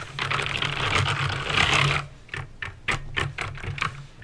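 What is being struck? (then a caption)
Plastic mechanical keyboard. Fingertips with painted nails type on a backlit plastic mechanical keyboard with clicky green switches. For the first two seconds, the bright, crisp clicks blur into a dense, rapid clatter. Then they thin out into separate, sharp keystrokes with quiet gaps between them, over a steady low hum.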